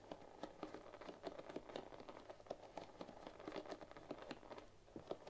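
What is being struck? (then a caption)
Bamboo paddle hairbrush with wooden pins. A bamboo paddle hairbrush with dense wooden pins is held pins up while fingertips and long nails strum and scratch across the pins. The result is a quiet, dry clicking patter of many quick, short ticks with almost no ring, centered in the mids around 380 Hz with bright edges. A faint steady low hum sits underneath.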